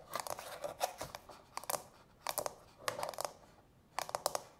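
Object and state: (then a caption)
Hollow, empty plastic soak bowl. Long natural fingernails tap and scratch over the domed inner insert and rim of a small, hollow, empty, frosted translucent plastic manicure soak bowl. Quick bursts of crisp, clicky taps mix with dry, scratchy rustling, bright and hollow-toned, with each tap dying away almost at once. The bursts come in separate clusters with quiet gaps between them.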